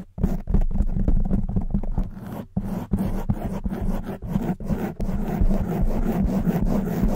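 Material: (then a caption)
Foam. Long white nails scratch rapidly over a hollow black foam microphone windscreen. It makes dense, irregular bursts of muffled scraping with a heavy low rumble and a few brief dips in between.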